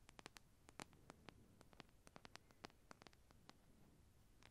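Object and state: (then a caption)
Plastic comb, scratched with nails. A hand-sized, solid orange plastic wide-tooth comb is held in front of a furry windscreen microphone while long painted nails scratch and run along its spine and teeth. Many short, sharp clicks and ticks ring out over a low, steady hiss, each dying away almost at once.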